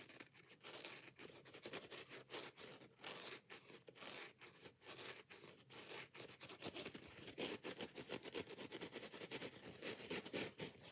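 Long nails rub and scratch quickly across the soft yellow foam side of a kitchen sponge with a scouring pad. The result is a dense run of short, bright, hissy scraping bursts with little low end.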